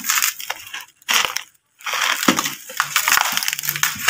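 A large, solid, dry, compacted sand or dust chunk about fist-to-brick size sits in a red plastic tub while gloved fingertips scrape and crumble its edge, crushing and rubbing the same chunk throughout. Bright, gritty crunching and rasping bursts sound as loose grains fall, broken by two brief silent pauses.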